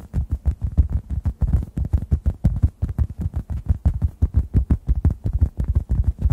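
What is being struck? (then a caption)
Synthetic foam sponge. A hand-sized, solid yellow-orange synthetic foam sponge is tapped with fingertips above the microphones. It makes a fast, uneven run of soft, deep, muffled thumps, about three per second, with almost no brightness and each tap dying away at once.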